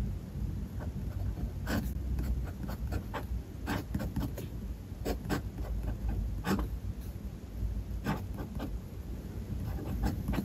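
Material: Paper.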